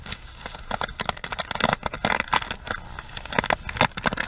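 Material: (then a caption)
Plastic. Long acrylic nails scratch and rub the bristles of a small plastic hairbrush. The result is a rapid series of bright, crisp clicks and scratches over a faint, steady hiss, with each stroke cutting off almost instantly.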